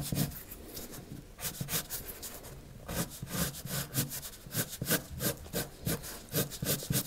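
The tip of a pink wood-cased colored pencil, held in the fingers, rubs across a blank white paper sheet lying flat on a wooden table in shading and drawing strokes. The result is a quiet, scratchy, bright rustle of short strokes repeating about three times a second at an uneven rhythm, with some low body under the hiss.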